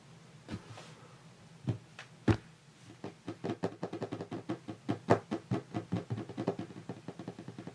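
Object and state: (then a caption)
Wooden tabletop. Fingertips of both hands resting on a large, solid, varnished wooden tabletop tap and knock the wood. A few sparse knocks are followed by a quick, uneven run of short, dull, low-pitched thuds that die away almost at once.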